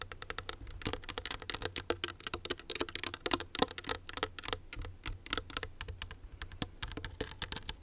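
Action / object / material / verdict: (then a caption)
scrape / rhinestone-studded clutch purse on a metal frame / rhinestone crystal / none. Long nails scratch and rub the crystals of a small, hollow, owl-shaped rhinestone clutch purse on a metal frame. The result is a steady stream of quick, bright clicks and ticks, each dying out almost instantly, over a faint low hum.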